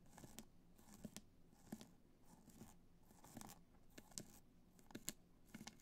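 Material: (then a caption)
Rhinestone. Long nails scratch the top and sides of a hollow black hard-shell clutch covered in multicolor rhinestones, resting on white fur. Soft, dry scratching and crinkly rasps come in short bursts, marked by brief bright clicks as the nails catch the stones, over a faint steady low hum.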